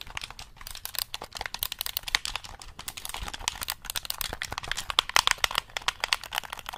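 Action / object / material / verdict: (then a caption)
tap / plastic game controller / plastic / none. Fingertips rapidly press and tap the buttons of a black, hollow plastic gamepad held close over the mic. The result is a dense, continuous stream of dry, bright clicks with almost no ring and very little low end.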